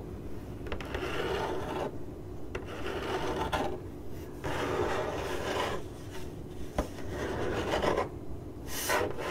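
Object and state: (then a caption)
Cardboard box being scratched. Long acrylic nails on one hand scratch a hollow, printed corrugated cardboard box. Repeated dry, raspy scraping strokes come in bursts separated by short pauses, with a few sharp clicks in between.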